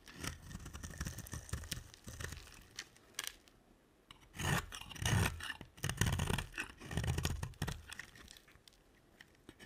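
A utility knife blade scrapes curls off a solid, dry, cream-colored bar of soap held in the hand. It makes irregular, crunchy, rasping strokes with a low, dull body and a bright, crackly edge. The strokes come in uneven bursts, with quieter pauses between them.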